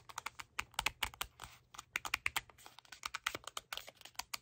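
A small red cardboard cleanser box is held in both hands while fingernails tap and scratch along its sides and edges. The result is a rapid run of many short, dry, bright clicks with very little low end, interspersed with brief soft scratching hiss.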